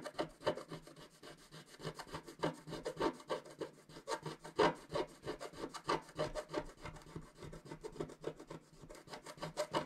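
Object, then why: Coated scratch-art card scratched with a wooden stylus. A wooden stylus scratches continuously across a flat coated scratch-art sheet. The sound is a quiet run of quick, irregular, dry rasping strokes with a mid-range scratchy tone, each stroke dying away almost at once.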